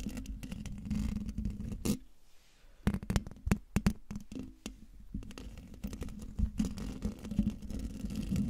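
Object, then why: Metal mesh microphone grille. Fingertips and nails of one hand, then both hands, scratch the hollow metal mesh grille of a silver Blue Yeti microphone. The sound is a close, dense, low rasping scratch with a steady hum-like tone around 200 Hz. It pauses into near silence briefly, then returns with sharper, louder strokes before settling back into continuous scratching.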